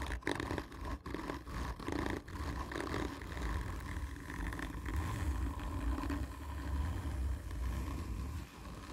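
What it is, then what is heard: Cardboard tube being scratched. Long painted nails scratch slowly and hard along a hollow, black textured cardboard whisky tube. The result is a dense, rasping scrape with a deep, hollow rumble underneath. A few brief breaks in the first two seconds give way to steady, continuous scratching.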